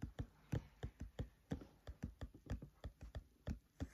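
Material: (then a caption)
Paper. Fingertips tap on the paper pages of an open, thick paperback book, making about 18 soft, dull, low thuds over four seconds. The taps are quiet and die away almost instantly, falling in a loose, uneven rhythm.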